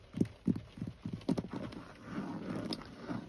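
Fingertips with short painted nails tap rhythmically on the large, textured plastic airbag cover around the badge of a Nissan steering wheel hub. The taps land as dull, low-pitched knocks that stop quickly. They blur into a softer, continuous rubbing patter in the second half.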